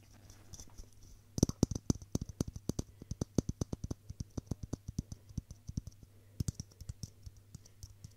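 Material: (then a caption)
Plastic. A hollow, hand-sized clear plastic Christmas bauble filled with pink tinsel is held in one hand and tapped with the fingertips of the other. About 40 short, dry taps come in quick runs: soft at first, then louder and faster from about 1.4 seconds, with a brief pause near 6 seconds before the tapping resumes. Each tap stops almost at once, over a steady low hum.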